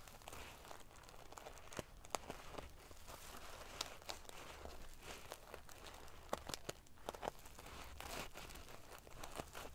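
Long painted fingernails scratch and ruffle the small silver metal sequins sewn in rows onto the fabric of a large decorative pillow. The result is a soft, continuous crinkling rustle. Sharp, bright clicks and ticks of metal pieces rise out of it throughout.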